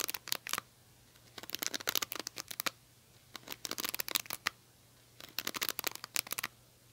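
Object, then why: Cushion hairbrush with plastic bristles. Long nails scratch the plastic bristles of an oval cushion hairbrush with a silver, metal-look handle. Four bursts of crisp, bright, rapid clicking and scratching are separated by short pauses, over a faint steady low hum.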